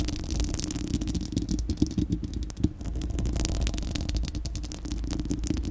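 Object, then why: Steel mesh microphone grille scratched with nails. Long acrylic nails scratch and tap across a bare, hollow, dome-shaped round steel-mesh microphone grille. The result is a dense, continuous, low, boomy rumble with fast rattling clicks and a steady mid-low resonance. A few sharper taps stand out near the middle, alongside faint bright ticks.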